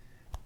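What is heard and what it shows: A homemade baked pepperoni bread roll is tapped once in front of a microphone, giving a single soft, dull, low thud that dies away almost at once over a faint background hum. The roll is soft and fluffy rather than crunchy.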